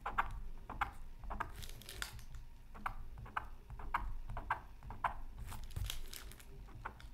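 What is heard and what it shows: A bamboo stylus scratches short strokes into the coating of a flat, thin, solid black-coated scratch art card. Quiet, dry, rasping scrapes come in quick bursts with no ring, each with a bright edge and a faint tone near 1.2 kHz, over a low background rumble.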